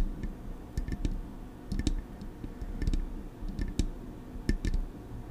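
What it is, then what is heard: Metal microphone body tapped with nails. Long acrylic nails tap the smooth metal casing of a silver Blue Yeti microphone body. Short, sharp clicks with bright tops and a soft low thump come in an irregular, loose rhythm over a quiet low background hum. Each tap dies away almost at once.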